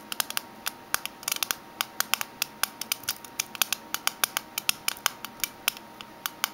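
Fingernails tap the metal side and rim of a closed, small oval aluminium mint tin standing on its edge. About 38 sharp, bright, tinny clicks come in an uneven rhythm, some in quick bursts. Each dies away almost instantly, with no low-end body.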